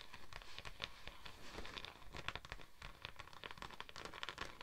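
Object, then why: Thin textured vinyl sheet. Long acrylic nails and the fingertips of both hands scratch and tap a thin, flexible purple holographic vinyl sheet with a raised scale pattern, draped over a microphone. The result is a quiet, steady stream of rapid scratchy rasps and light taps with crinkly, bright clicks over a soft low rumble.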